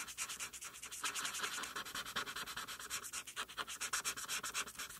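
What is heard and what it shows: A felt-tip marker held by the fingertips is rubbed back and forth in short strokes across a flat white paper coloring sheet, coloring a mane purple. The result is a rapid, steady run of dry, scratchy swipes, each a brief bright hiss with almost no low end, pulsing evenly in loudness.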